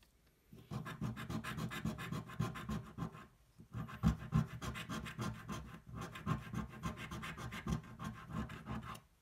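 The edge of a coin scratches a thin, flat cardboard scratch-off lottery ticket held flat on a table. Quick, dry, rhythmic scratching strokes come in three bursts separated by brief pauses. The rasp is soft and mostly low-weighted, with little high-end hiss.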